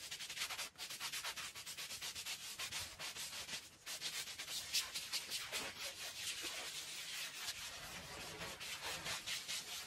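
A hand-held stiff scrub brush is pushed in long strokes across a small, dirty, oval fringed woven rug lying wet and foamy on a concrete floor. The bristles make a steady, bright, hissing scrub as they rub and scratch the wet pile. The rapid strokes run back and forth almost without pause, with little low-end weight.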